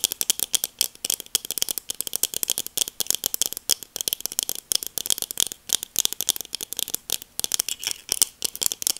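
Long acrylic nails tap rapidly on black plastic sunglasses held near the mic. The result is a dense, steady stream of sharp, dry clicks that are bright and high with almost no low end. Each click is very short, with no ring.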